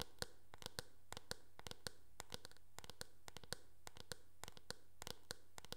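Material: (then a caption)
Plastic. Long nails tap and scratch across the back of a teal, hard plastic oval hairbrush with a hollow shell. About thirty sharp, bright clicks ring briefly with a hollow tone around 480 Hz, spaced irregularly over a quiet, steady low hum.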